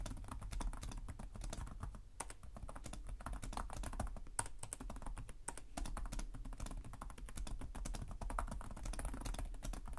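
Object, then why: Plastic laptop keyboard. Two hands type continuously with their fingertips on a black laptop's low-profile plastic chiclet keys, the laptop resting on a table. Rapid, quiet, dry clicks and taps run steadily through the clip, each dying away almost instantly. A low, steady hum sits underneath the key clatter.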